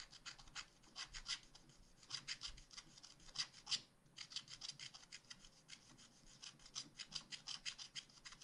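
A wooden stylus rubs and scratches the coating off the ice cream scoops drawn on a black wax-coated scratch art page. Quick, dry, bright rasping strokes repeat at an uneven pace with a brief pause near the middle. The scraping is quiet overall, with a few louder strokes.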